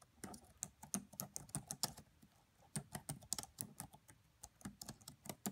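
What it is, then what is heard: Plastic laptop keyboard. Both hands type with fingertips and long French-manicured nails on the black plastic chiclet keys of a red laptop with a hollow body. About two dozen quiet, short keystrokes tap out in an irregular rhythm, each a crisp, bright click with a soft low thump from the body, with a pause in the middle before the typing resumes.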